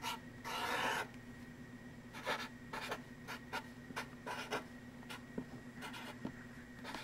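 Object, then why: Stretched fabric canvas on a wooden frame, marker tip. A hand writes and draws with a black marker tip on the back of a stretched linen or cotton canvas, taut and hollow behind on a wooden frame. A long, bright scratchy rubbing stroke opens the clip, followed by a series of short, dry strokes with quiet pauses between them, over a faint steady hum.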